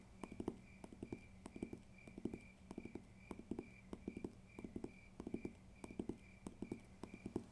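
Fingers tap rhythmically on a paper textbook, making quick, dull knocks in small clustered bursts with a steady faint high tone in the background. The taps are soft and short, with little ring, repeating evenly throughout.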